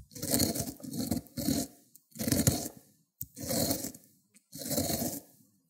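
A solid cucumber is rubbed in circles on a ceramic grater plate, turning it into wet green pulp. Six separate wet grating scrapes are heard, each a rough, crunchy burst with a bright hiss and a low rumble, broken by short pauses and a couple of brief clicks.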